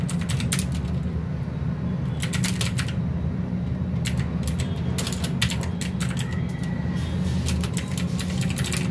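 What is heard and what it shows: Fingertips of both hands type steadily on a full-size mechanical keyboard with plastic keycaps and RGB backlight, resting on a desk mat. Bright, crisp key clicks come in quick clusters over a constant low hum that dominates the sound.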